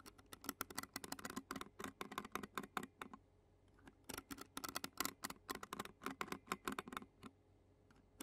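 The tines of a clear plastic fork scratch across the black metal mesh grille of a handheld Zoom recorder. The result is a run of quick, sharp, dry scratchy clicks that stop briefly around the middle. There is little low end and the clicks are bright.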